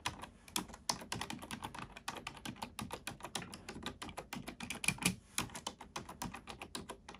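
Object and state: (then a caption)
Plastic computer keyboard being typed on. A black plastic computer keyboard is typed on with both hands, using fingertips and nails. The clip is a steady stream of quick, bright, clicky keystrokes with short tails and a few louder taps.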